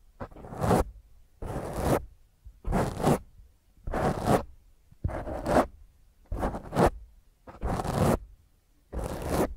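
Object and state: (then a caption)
Foam microphone windscreen being scratched. A black foam microphone windscreen held in one hand is scratched fast by long fingernails. Eight rough, scratchy bursts come in a steady rhythm, each a dense, broadband rasp with a low rumble underneath and brief quiet gaps between strokes.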